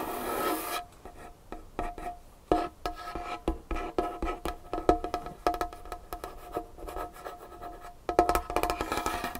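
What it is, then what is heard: Wooden tabletop. Long nails scratch and tap on a large, solid, varnished wooden tabletop. A bright rasping scratch opens the clip, followed by rapid, dry, hollow taps with a faint ringing tone near 700 Hz. The sound ends in another burst of quick tapping and scratching.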